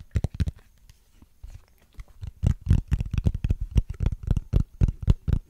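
Fingernails scratch and tap across the ridges of a small, hollow, transparent plastic case with a ridged texture. A pair of sharp taps opens the clip, followed by a quiet pause. A rapid, uneven run of short, dry, low-pitched clicks and scratches then builds and continues to the end.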